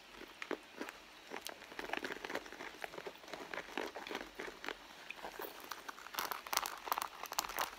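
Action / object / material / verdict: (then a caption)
scrape / leather handbag / leather / none. Long blue nails scratch the front panel of a hollow red pebbled-leather handbag lying on a mat. A quick run of dry, crinkly scratches and taps carries through the midrange and up into bright highs, with the busiest, loudest scraping toward the end.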